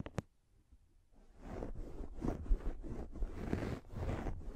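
A pink, fluffy microfiber makeup remover pad is held over the mic and scratched with long nails. Two faint ticks open the clip, then after a short quiet pause comes a steady run of soft, bassy, rustling scratches in uneven strokes, with hissy bursts reaching into the high range.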